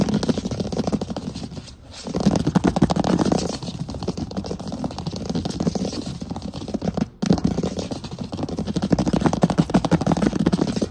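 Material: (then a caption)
Wood. Fingertips and short nails tap rapidly on a large solid wood plank floor, close up. The result is a dense, dry stream of quick, low-mid knocks and clicks with almost no ring, broken by brief pauses near 2 and 7 seconds before the tapping resumes.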